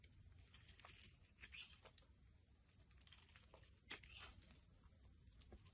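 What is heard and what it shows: A utility knife blade shaves curls off the top of a solid, translucent pink rectangular glycerin soap bar held in the hand. Quiet, crisp scraping and crinkling strokes come in quick, uneven bursts with a bright, hissy edge over a faint low rumble.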